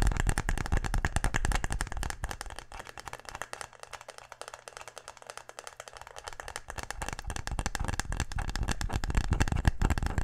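A wooden tic-tac-toe case is tapped quickly and aggressively in a dense stream of short, dry, low knocks. The taps are loudest at the start and end and soften through the middle.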